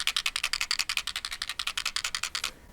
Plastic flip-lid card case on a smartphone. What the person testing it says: 움직일 때마다 달그락거리는 소리가 종종 들립니다